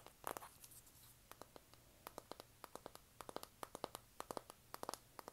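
Long nails scratch and tap a flat, hand-sized rectangular pink printed cardboard eyeshadow palette. A brief rough scratching burst opens, followed by many quick, dry, sharp taps with no ring, spread across a quiet background.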